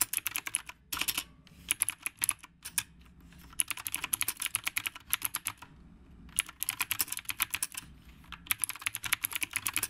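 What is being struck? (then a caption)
Typewriter-style mechanical keyboard with plastic keycaps. Both hands type with their fingertips on a retro typewriter-style mechanical keyboard with round plastic keycaps. The result is a steady stream of sharp, bright, clacky keystrokes in quick bursts, with short pauses between them.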